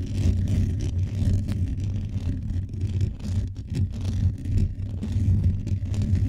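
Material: Metal.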